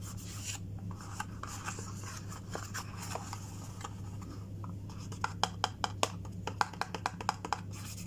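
A closed, hollow, small white printed cardboard sewing kit box is held in the hand while fingernails scratch and rub along its surface and edges. Soft, dry rubbing and scraping runs over a steady low hum. In the last few seconds it turns into a quick string of sharper, bright taps and clicks.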